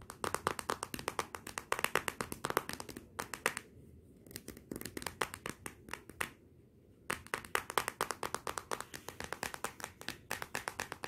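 Fingertips and nails tap and rub quickly on the glossy glass back of a Motorola smartphone lying face down. Rapid runs of short, sharp, clicky taps have almost no ring and a bright, thin tone with little low end. Two brief pauses break the runs, around 4 and 7 seconds.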